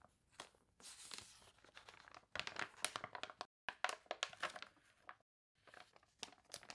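A water-warped glossy paper toy catalog has its pages turned while long nails rub and scratch the crinkled paper, partly up close. Dry, bright crinkling and crunching rustles come in quick bursts, broken by two brief moments of silence.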